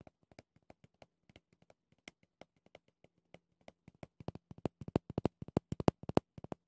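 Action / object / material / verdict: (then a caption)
scrape / pumice stone brush with clear plastic base / pumice, plastic / none. Red-painted nails scratch and tap the rough top and clear plastic edge of a small round pumice stone brush with a clear plastic bristle base. The result is a rapid, uneven run of short, dry clicks and scrapes that start soft and grow louder toward the end, over a faint low hum.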